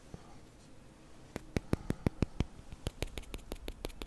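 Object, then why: Wooden Jenga block tower. A tall tower of small, solid, light-wood Jenga blocks stands on a table while fingertips place a block on top, then push and slide a block out near the base. After a quiet start, about sixteen sharp, dry wooden taps and knocks follow with no ring. They come in an uneven rhythm, with faint scraping as the blocks rub against each other.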